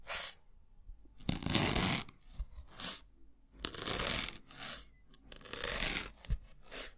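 A thin metal needle repeatedly pierces a white solid melamine foam block, making crunchy, crackling bursts. The bursts come in irregular clusters with short pauses between them, bright and hissy in tone with occasional sharp low pops.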